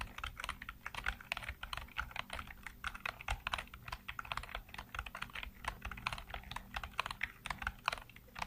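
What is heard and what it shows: Fingertips type steadily on a black plastic computer keyboard with hollow keycaps. The result is a fast, continuous stream of short, dry, clicky taps with bright highs, over a faint low hum.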